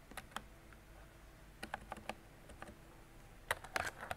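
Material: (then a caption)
Plastic. A mint-green retro mechanical keyboard with round plastic keycaps and a hollow body is typed on with fingertips and long decorated nails. Short, sharp plastic clacks with a bright edge come in irregular clusters: a few at the start, a run in the middle and a denser burst at the end. Quiet pauses between the clusters carry a faint steady low hum.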